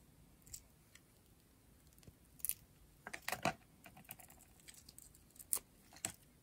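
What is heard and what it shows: A rectangular, hand-sized pink bar of dry, solid soap with a green edge is held in a hand with long painted nails and shaved with a metal utility blade, peeling off curls. The result is a quiet series of short, dry, crisp scraping clicks, bright and high with little low end, over a faint hiss, with the loudest cuts clustered near the middle and end.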